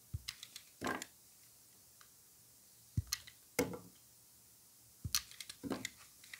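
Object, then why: Bar of soap shaved with a blade. Gloved hands shave a solid white rectangular bar of soap with embossed lettering using a utility knife blade, and slices come off. Each cut makes a short, crisp, bright scrape with a dull low thump at the start. The cuts come in scattered clusters over near silence.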